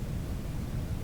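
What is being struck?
Nothing is struck.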